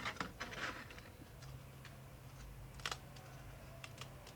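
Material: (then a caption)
Baked bread. Thin, delicate sheets of dried whole-wheat roqaq flatbread, cooked in a pan, are broken and crushed by hand. They give sharp, bright crackles and snaps, loudest at the start and near the three-second mark, over a low steady hum. The crunch shows the sheets are dry and crisp.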